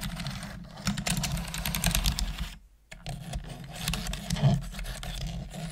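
Long manicured nails and fingertips tap sporadically on the hollow plastic keys of a full-size black plastic computer keyboard. The result is a rapid stream of light clicks and clacks over a steady low hum. The tapping breaks off into near silence for a moment, then resumes.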